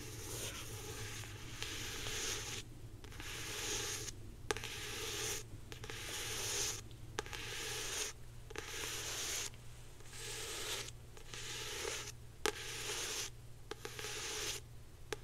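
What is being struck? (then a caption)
Hardcover book with glossy paper dust jacket. Long painted nails scratch across the glossy paper dust jacket of a hardcover copy of "The Hobbit" held in one hand. The result is repeated bursts of dry, bright, hissy scratching separated by short pauses, over a steady low hum, with occasional sharp ticks.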